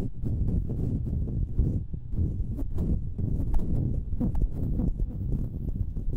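Long nails scratch and tap the hollow metal mesh grilles of two identical stereo microphones. The sound is a dense, steady, muffled rumble of close scraping, almost all low in pitch, with brief brighter clicks scattered throughout.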